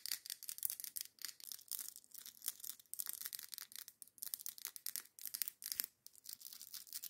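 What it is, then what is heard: Glass candle jar. Long acrylic nails tap and scratch a large glass Yankee Candle jar filled with red wax and topped with a glass lid. The fast, intense clicks and scrapes are bright, dry and high-pitched, with almost nothing in the low end. They come in quick bursts of tapping separated by short pauses.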